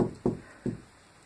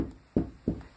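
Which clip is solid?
The first.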